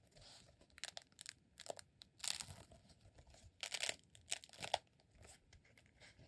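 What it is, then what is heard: Rolled beeswax candle. Fingertips and nails scratch and squeeze the textured surface of a solid roll of green rolled honeycomb beeswax candle. Short, crisp, crinkly bursts of scraping and crunching come in irregular clusters, bright with almost no low end. Each burst stops dead with no ring, leaving quiet gaps between them.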